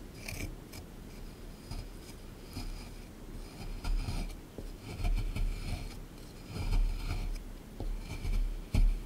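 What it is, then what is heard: Plaster excavation block being scraped. A small pointed plastic digging tool, held in the fingertips, scrapes and scratches loose crumbs away from a hard, solid beige plaster block set in a shallow green tray. Soft, dry, gritty scraping comes in irregular bursts over a low, muffled rumble, with faint bright scratchy edges on the stronger strokes.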